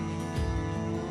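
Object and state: Nothing is struck.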